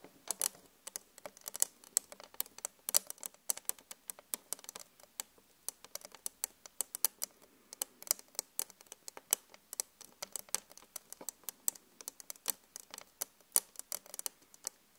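Long acrylic nails tap rapidly with both hands on the solid pane of a large, flat glass vanity mirror with an LED frame. The taps are fast, bright, dry clicks with almost no ring and little low end, arriving in quick, uneven bursts at a quiet level.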